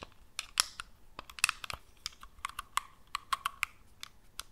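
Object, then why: Plastic game controller. Long acrylic nails tap and click on the shell and buttons of a black, hollow, hand-sized plastic PS4-style gamepad held in both hands just above the microphone. Quick, dry, bright clicks with almost no ring come in an uneven run, some with a sharper mechanical snap like button presses.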